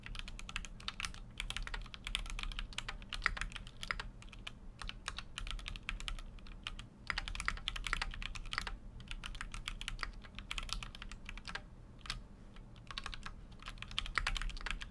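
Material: Aluminium, plastic.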